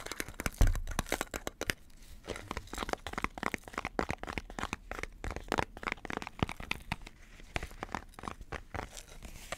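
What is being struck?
Cardboard composite chip tube.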